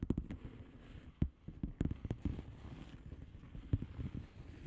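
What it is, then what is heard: Plastic bubble wrap envelope. Long fingernails on both hands tap quickly on a flat blue plastic bubble wrap padded envelope filled with air bubbles. The result is a quiet stream of soft, dull, low-pitched taps with a muffled, padded quality and almost no bright edge. Each tap dies away at once in an irregular patter.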